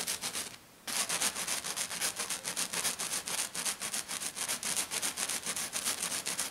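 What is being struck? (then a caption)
Glitter-coated sheet. Long black nails scratch aggressively and fast across a flat silver glitter-coated sheet lying on a table. The result is a rapid run of bright, hissy scratching strokes, about three to four per second, with a brief pause just after the start.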